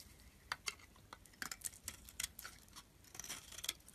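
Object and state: Bar of soap scraped with a blade.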